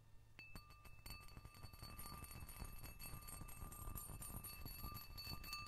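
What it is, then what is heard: Cut glass dish. A round, clear, patterned cut-glass dish or ashtray, held in one hand, is tapped on its rim and surface by the nails and fingertips of the other hand. The result is irregular, quick ringing clinks with steady bright tones sustaining over a low, rumbling background.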